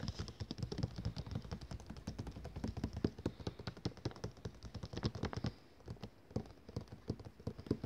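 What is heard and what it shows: A thick, glossy paper catalogue lies closed and flat on a table, a solid stack of pages, as one ringed hand rapidly taps its cover with fingertips and nails. The result is a dense, quick patter of soft, dull taps with a low, thudding body and short clicky edges. The tapping eases briefly near the end before resuming.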